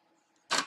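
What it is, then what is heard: Plastic valve cap. A single short, dry click from a tap on the plastic top cap of a needle valve flow control on a hydraulic line. The bright, clicky tap dies away almost at once with no metallic ring, which marks the cap as plastic rather than metal.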